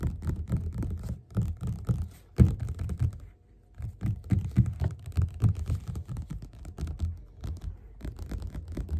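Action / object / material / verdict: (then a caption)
tap / paperback book with glossy card cover / paper / none. Fast fingerpad tapping with both hands on the cover of a yellow glossy paperback of Othello, lying flat, solid and closed, on a table. The result is a dense stream of soft, dull, low thumps with very short decay and no bright content, broken by a brief pause around the middle before the rapid drumming resumes.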